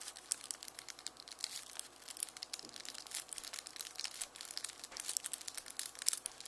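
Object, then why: Onion outer skin. Fingertips rub and crinkle the dry, papery outer skin of a whole, solid, dry yellow onion held in one hand at the left edge of a red mesh bag of onions. The result is a steady stream of quiet, bright, crisp crackles and rustles with almost no low end, each tiny snap dying away instantly.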